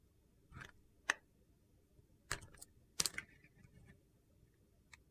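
A solid translucent green-swirled glycerin soap bar is held in the hand and shaved along its edge with a utility knife. A few short, separate scraping snicks sound crisp and bright over quiet background noise, each dying away almost instantly.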